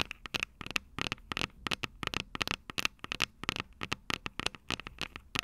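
Long purple nails tap and scratch the metal microphone capsules of an upright Tascam DR-05 recorder. The result is a rapid, uneven run of sharp, bright clicks and scrapes that die almost instantly, with a ringing tone near 2.7 kHz and little low end.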